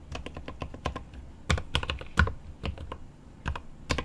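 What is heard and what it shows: Both hands type rapid fingertip taps on a 75% mechanical keyboard with plastic keycaps on an aluminum case. The result is a quick run of short, clicky key strikes with a low thocky body and a brighter click on top, with a few louder strokes standing out.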